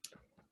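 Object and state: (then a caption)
Tight fabric in embroidery hoop. Cross-stitch fabric stretched tight in an embroidery hoop like a drum is tapped, giving a sharp, bright, high-pitched tick that dies away almost at once, followed by a faint softer knock. The fabric is nice and tight, sitting in a good spot and won't move around.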